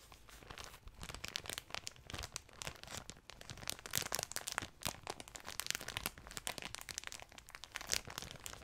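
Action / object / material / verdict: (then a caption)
scrape / thin clear plastic bag with a soft item inside / plastic / none. A small clear plastic bag holding a soft pink object is held in both hands and squeezed and crinkled with the fingertips and long nails. The result is a continuous run of bright, crackling plastic crinkles with sharp, quickly fading snaps throughout.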